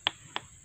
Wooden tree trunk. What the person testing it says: Biasanya kalau suaranya padat bisa itu sangat kuat